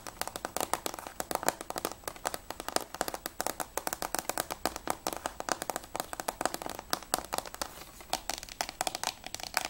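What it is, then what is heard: Plastic game case, hollow. A closed, hollow grey plastic PS3 Platinum game case of Assassin's Creed II is tapped fast with long nails on its front cover and top edge. The result is a dense, continuous stream of sharp, dry clicks with no ring, centered in the upper midrange around 700 Hz with a bright edge and almost no low end.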